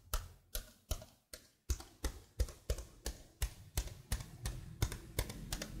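Fingers with blue-painted nails rub and scratch across the keycaps of a detached plastic laptop keyboard held close beside the mic. The result is a quick, uneven series of short, dry clicks and scrapes, about three per second, each with a dull low thump and a brief bright edge that dies away almost at once.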